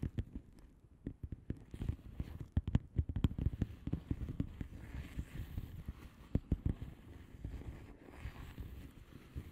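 Long polished nail tips tap the air bubbles of a flat blue plastic bubble wrap envelope lying on a surface. The taps are quick, soft and dull, mostly low-pitched, and come in uneven clusters of many short clicks with almost no ring.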